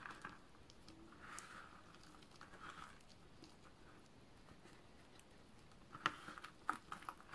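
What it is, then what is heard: Dry soap shavings, crumbled by hand. Bare fingertips with painted nails pick up, rub and crumble a heap of thin, brittle green dry-soap shavings and chips, from small flakes to finger-sized slivers, on a dark surface. Quiet, dry crunching and crinkly crumbling patter along, with a few sharper, brighter snaps near the end.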